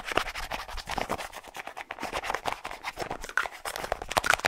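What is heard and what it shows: Fingernails quickly scratch and tap a small, hollow white plastic deodorant tube with a light blue plastic cap, held close to the mic. A rapid run of dry, bright clicks and scratchy rasps is heard, with little low end and almost no ring after each touch.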